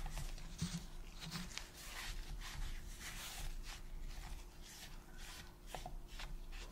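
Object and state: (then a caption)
Plastic game controller being wiped. A white and black hollow, hand-sized hard plastic PS5 controller is held in a gloved hand while gloved fingers wipe and rub its back and grips with a cotton pad. Soft, repeated scrubbing strokes hiss across the bright range over a steady low hum, with a few faint taps against the plastic. The sound stays quiet and even throughout.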